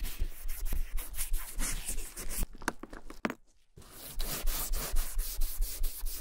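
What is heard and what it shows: The top edge near the handle of a vintage German leather satchel is rubbed with a cotton ball held in metal tweezers. Quick, uneven back-and-forth strokes make soft, bright swishing scrapes. The rubbing breaks for a brief near-silent pause midway, then resumes at the same steady pace.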